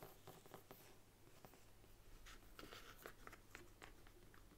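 Long nails tap and scratch the embossed front cover of a large brown faux leather Bible standing upright on a wooden table. Soft, quick clicks and bright, dry scratching strokes come over a steady low hum. Each touch is short and dies away almost at once.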